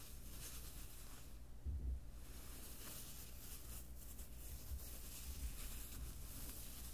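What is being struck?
Nothing is struck.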